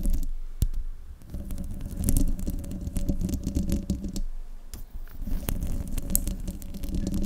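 Fingertips and long nails of both hands scratch the hollow metal mesh grille of a silver desktop microphone. The result is a dense, rumbling, low-heavy scraping with sharp clicks and steady buzzing tones, easing into a quieter stretch near the middle before picking up again.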